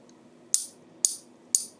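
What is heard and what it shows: A non-silver base metal token is pinged three times in a ping tester. Each tap gives a short, dull high click that dies away almost at once with no lasting ring, showing the token is not silver.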